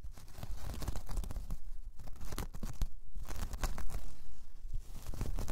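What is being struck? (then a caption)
Braided jute coaster. A large, flat, round braided jute/straw coaster resting on fur is scratched with long painted nails. The result is a dense, continuous rasping and crackling texture with quick, dry, overlapping strokes and a deep low rumble underneath.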